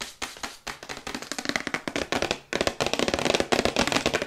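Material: Cardboard.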